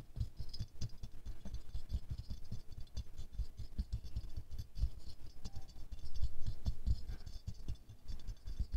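A small silver-glazed ceramic rose ornament resting on a fur rug is scratched and tapped quickly on its petals with fingernails. The result is a fast, irregular patter of dry, short taps and scratchy rattles with a soft, low thud to each contact and almost no ring. It stays quiet throughout, swelling a little louder around the six-second mark.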